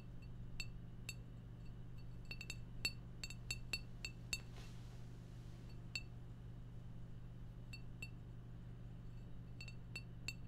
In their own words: ASMR Beer Bottle Tapping Sounds